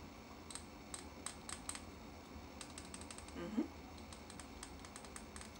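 Fingertips and nails tap quickly on the sides of a small clear glass votive cup filled with solid tan-cream wax, held up in both hands. A run of short, bright, typing-like clicks dies away almost instantly over a low hum. A slightly louder, duller knock with a brief low tone comes near the middle.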